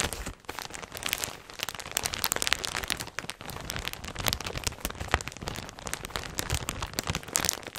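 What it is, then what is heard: Plastic garment bag crinkling. A clear plastic polybag printed CHIQUELLE, full and holding beige knit clothing, is handled and crinkled by fingers with long red nails close to the microphone. The result is a dense, continuous run of sharp, bright crinkles and crackles with almost no ring, filling the clip without pause.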